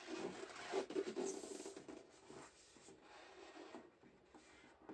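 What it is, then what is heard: Metal biscuit tin being rubbed. Gloved hands rub the lid of a large, full, rectangular printed tin-plate shortbread tin, then its side wall while turning the tin over. The result is a soft, scratchy friction sound with a hollow, mid-pitched resonance. It is loudest in the first second and a half and then settles into quieter, uneven rubbing.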